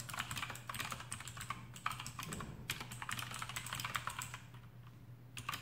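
Fingertips of both hands type rapidly on a full-size black plastic AUKEY KM-G6 mechanical keyboard with RGB backlight, fitted with Outemu blue switches and rubber O-rings and resting on a desk mat. Dense, fast key clicks with bright, crisp transients pile up continuously over a steady low hum, easing slightly before a final burst of keystrokes.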